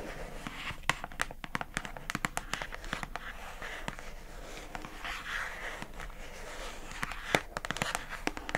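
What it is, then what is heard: Plastic food container tapped with fingernails. Long acrylic nails tap rapidly and unevenly on the labeled lid of a pink hollow plastic food container box held upright. The taps are dry, bright clicks that die away almost instantly, with a soft rustling hiss filling the gaps between them.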